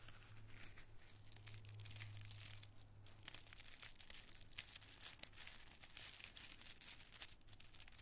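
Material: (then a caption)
Tissue paper. A bunch of small, thin, multicolored tissue paper squares is crushed and crinkled in the fist and cupped hands, then rubbed between the fingers. The result is dense, continuous bright crackling with quick sharp crinkle spikes, over a steady low hum that fades after about three seconds.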